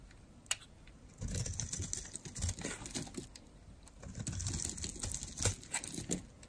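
A metal blade carves curls off the edge of a solid, dry, orange-and-white striped bar of soap held in the hand. After a quiet start with a single sharp tick, it gives bursts of crisp, crackling scraping with bright, brittle flecks and a soft low rustle beneath. Quieter pauses separate each cut.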